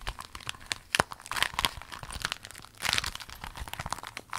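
A folded rainbow clear vinyl pencil case is squeezed and crinkled by hand with long nails. The result is a dense run of bright, crackling crinkles and sharp snaps with no steady rhythm. Louder bursts stand out near the start, middle and end.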